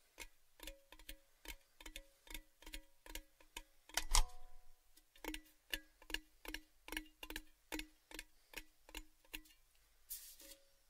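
A large, hollow, open-ended orange Baileys tin tube is tapped with fingertips while tilted in front of the microphones, producing about 24 quick, evenly paced metallic taps with a hollow tone around 300 Hz and short rings. A harder tap around the four-second mark rings longer with brighter overtones, and a brief bright rustle occurs near the end.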